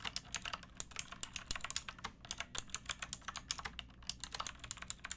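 Fingertips with long painted nails type steadily on a pink backlit plastic mechanical keyboard with round typewriter-style keycaps and a hollow case. About 30 quick, bright, clacky keystrokes come in an uneven rhythm, each dying away almost at once over a faint low background.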